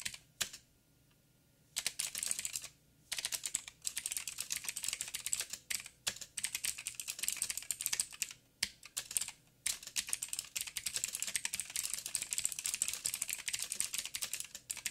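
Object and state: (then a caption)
Plastic mechanical keyboard. Fingertips type rapidly with both hands on a backlit 87-key mechanical keyboard with plastic keycaps and clicky blue switches. Dense bursts of sharp, bright clicks with almost no low end are broken by brief pauses near the start and around the middle. Each click is short and dry, dying away almost instantly.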